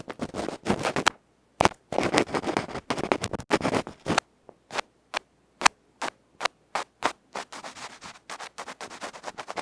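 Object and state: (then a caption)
Ear pick scratching a microphone capsule. A bamboo ear pick scratches the felt-covered face of a small electret microphone capsule held in the fingers, then moves to the capsule's metal side edge. Dense, bright, close-up scratching bursts in the first half give way to shorter, separate scrapes with brief silences between them.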